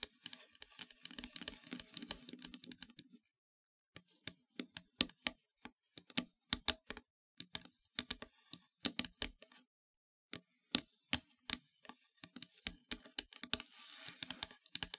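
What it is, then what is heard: Painted wooden heart plaque. Long nails tap on a solid, flat, black-painted wooden heart plaque, making short, dry, bright clicks that die away almost instantly. A dense stretch of quick scratchy tapping gives way to a brief silence. Then come sparser, sharper taps with another short pause, and the clip ends in a soft, rising scratchy texture.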